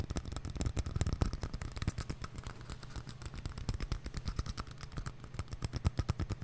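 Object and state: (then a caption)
Empty paper cup. A small, empty, hollow white paper cup held in one hand is tapped and scratched with long nails. The result is a rapid, steady stream of short, dull, low thuds that die out almost instantly, with faint scratchy rasps between them.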